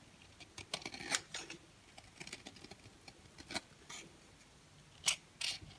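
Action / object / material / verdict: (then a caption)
scrape / bar of soap cut with a blade / soap / none. A dry, orange-and-white striped solid bar of soap is held in the hand and carved and scraped with a box cutter blade. Quiet, crisp scratching and crackling bursts come at an irregular pace, with bright, hissy high tones and almost no low end. Two louder, sharper scrapes stand out near the end.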